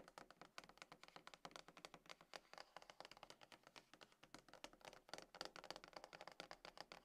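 Long acrylic nails and fingertips of both hands tap and scratch a closed, hollow, dark grey cardboard iPhone box resting lid-on on a table. The result is a quiet, rapid, continuous stream of short, bright, clicky taps with very little low end, each dying away almost instantly, with scratching between them.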